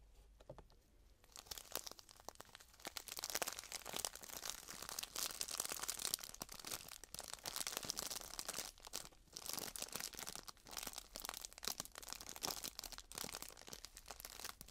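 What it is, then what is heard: Plastic bag of loose dried tea. A small clear plastic bag filled with dried loose herbal tea is held above a tray and crinkled and squeezed with fingertips and long painted nails. After a quiet first second, dense, bright crinkling and crunching runs steadily for the rest of the clip, with almost no low end.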